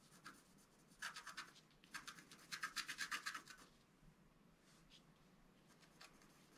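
A pointed wooden stylus scratches the coating off a flat, black-coated scratch-art card, about A4, lying on a table. Quick, bright, dry scratching strokes come in two rapid bursts, then fade to soft, faint scraping with a few light strokes near the end.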